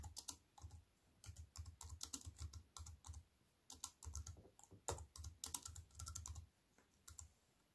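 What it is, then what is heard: Plastic computer keyboard. A compact wireless keyboard with black plastic keys on a grey metal-look frame, lying flat on a wooden table, is typed on with fingertips and long white-painted nails. Quick bursts of sharp, bright plastic clicks and taps over soft low thumps come in uneven runs. Brief pauses fall between the runs, and each tap dies away almost at once.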